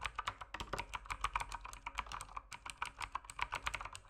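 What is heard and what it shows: Fingertips type steadily on an RGB mechanical keyboard with plastic keycaps. The result is a fast run of crisp, clacky keystrokes, each short and bright with a clicky midrange tone.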